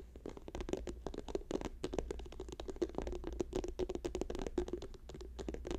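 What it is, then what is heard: Plastic squeeze tube. Fingertips and nails tap rapidly on a hand-sized, apparently filled orange and white soft plastic lotion tube lying on a fur rug; by the end the hands mostly cover the tube. The result is a dense, continuous stream of quick, soft, dull ticks with a faint tone around 414 Hz over a steady low hum.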